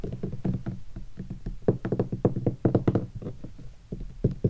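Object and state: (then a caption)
Guitar hard case, hollow. Fingertips tap rapidly on the body and edge of a hollow guitar hard case covered in black textured leatherette and stickers. Each tap is a short, dull, hollow knock with low, boomy body around 120 Hz and almost no brightness, dying away almost instantly. The taps come in an irregular, uneven rhythm, with some hitting harder than others.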